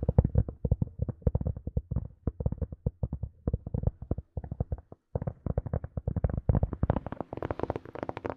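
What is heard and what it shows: Long nails and fingertips tap rapidly on a small, hollow black hard-shell plastic earphone case held in both hands. The steady flurry of short, dull, hollow taps is mostly low and thuddy, with a few brief pauses, and the taps turn brighter and clickier toward the end.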